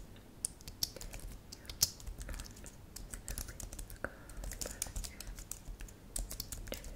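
Long manicured nails and fingertips rapidly type on a thin white/silver computer keyboard with solid plastic keys, lit purple. The quiet, steady stream of short, dry clicks has bright, high-pitched ticks from the nails over a soft low thud from each keypress.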